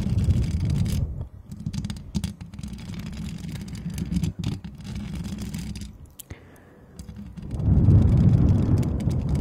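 Long decorated acrylic nails on both hands scratch and tap across the hollow perforated metal mesh grille of a white Blue Yeti-style condenser USB microphone. The result is a dense, muffled, low rumbling scrape with no bright edge. It thins to a quiet lull near the six-second mark, then swells back into heavy scratching.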